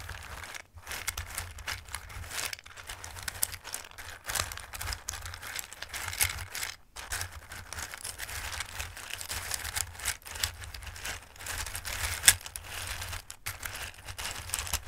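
Two hands with long nails press, rub and scratch through a full bowl of raw dried pasta shapes. The result is dense, bright, crisp rustling and crunchy clicking that swells and pauses, with a steady low hum underneath and one sharper click near the end.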